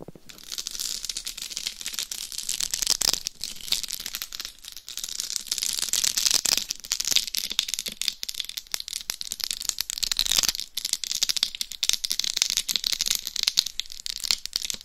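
Very long nails scratch quickly over the rhinestone-covered top of a life-size binaural dummy head microphone, a hollow shell coated in small plastic rhinestones. The sound is a dense, continuous stream of bright, crackling scratches and clicks, almost entirely high-pitched with very little low end.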